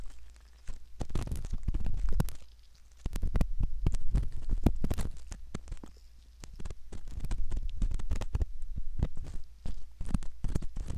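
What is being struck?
Silicone ear model scraped with a metal ear pick.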